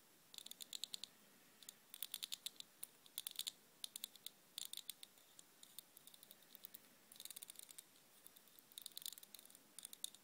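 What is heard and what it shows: Fingertips and long nails strum and scratch the metal pin bristles, tipped with red balls, of a black plastic vented hairbrush held upright. The result is bursts of rapid, bright ticking clicks that peak around 3.9 kHz and stop almost instantly, with pauses between clusters. There is almost no low end beneath them.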